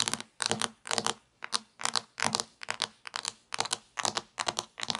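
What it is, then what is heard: Plastic toy pizza. Long nails tap and scratch the topping surface of a sliced, solid plastic toy pizza lying on a table. Quick, bright clicky taps come in clustered bursts with tiny scratchy drags, dry and with almost no ring or low end.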